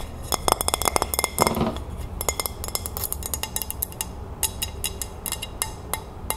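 Long fingernails tap and scratch the underside of a white ceramic dinner plate held in the hand. The result is a run of quick, bright clinks with very short ring, broken by a brief scratchy rasp.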